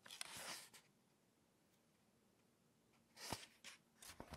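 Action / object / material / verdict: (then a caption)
scrape / glossy paper magazine / paper / none. Spread fingertips rub the pages of an open glossy-paper lifestyle magazine lying on a table, then turn the pages. A bright, papery rustle opens the clip, followed by a near-silent pause. A cluster of crisp swishes and soft slaps follows as the pages flip.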